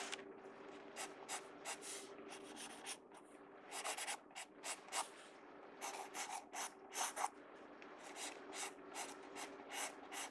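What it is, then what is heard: Pencil scratching on a sketchbook page. A pencil tip scratches and rubs hatching strokes across the page of an open paper sketchbook, heard close up. Quiet, bright, dry scratching bursts come in quick irregular strokes over a faint steady low hum.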